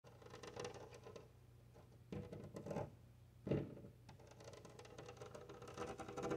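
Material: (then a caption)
Glass. Both hands with long painted nails tap and scratch a large, flat glass window pane bearing a decorative bead sticker, using nails and fingertips. The result is quiet, dry patter and scratching over a steady low hum, with a few louder, fuller taps standing out partway through.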